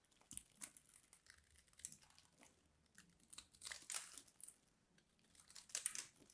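A small metal blade scratches and cuts a grid pattern into a solid, hand-sized purple bar soap with an embossed logo, chipping off squares. Quiet, bright, dry crinkling scrapes and short crisp cuts come in irregular bursts, with louder clusters near the middle and the end.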